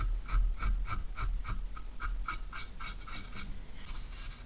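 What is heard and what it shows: Gloved hands rub and polish a small, empty, hollow, shiny copper/brass handbag with a cloth, making quick, steady rasping strokes. Each back-and-forth swipe gives a bright, airy scrape with a faint ringing tone near 1.2 kHz over a low rumble. The strokes ease slightly in loudness toward the end.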